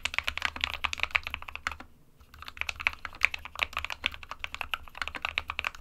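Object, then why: Plastic mechanical keyboard. Both hands type rapidly with their fingertips on an SK61, a small 60% mechanical keyboard with a white plastic case and plastic keycaps, resting on a printed desk mat. The taps are quick, bright and clicky, each dying away almost at once, with a low hum underneath. The typing stops briefly around the two-second mark, then resumes at the same pace.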